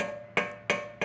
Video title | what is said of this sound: Harley Davidson Mystery Noise? Check your Heat Shields #harleydavidson #fix #howto | Just tap them. It's kind of how it should sound.